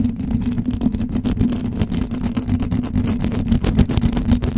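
Long blue acrylic nails on both hands scratch vigorously across the hollow metal mesh grille of a silver condenser microphone. The result is a continuous, dense rasp of rapid scratchy strokes over a heavy low rumble with a steady droning band, with brief bright ticks flickering throughout.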